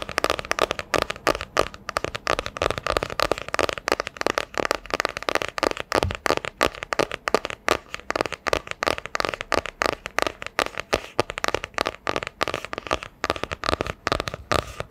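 A solid hardcover book with a printed cardboard cover is held in both hands and tapped with long dark nails. Dozens of quick, dry taps follow one another in a steady, fast rhythm. Each is a short, hollow midrange click with a bright edge and almost no ring.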